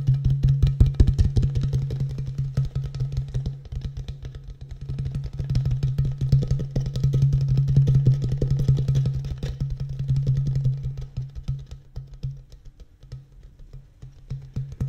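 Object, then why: Thin plastic water bottle. An empty, hollow, thin-walled clear plastic (PET) water bottle with a blue cap is held sideways in front of a microphone and rapidly tapped with fingertips and nails. The result is a dense, quick patter of hollow, low-pitched plastic thumps that swells and eases in waves, then grows softer and sparser toward the end.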